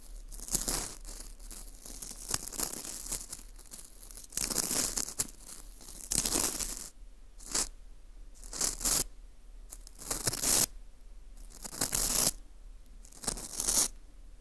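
A teal rubber-tipped earpick scratches inside the hole of a small hollow ring of dry, porous baked wheat gluten (fu) held in a gloved hand. Bright, dry, crackly scratching and crinkling comes in irregular bursts between quieter stretches of faint rustling, with most of the sound in the high range.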